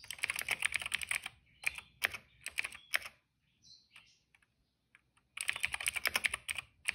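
Fingertips of both hands type on a retro-style cream plastic mechanical keyboard with black and purple keycaps, producing sharp, bright, clicky keystrokes. A fast burst of typing gives way to a few spaced single presses and a near-silent pause with faint small clicks, then rapid typing resumes.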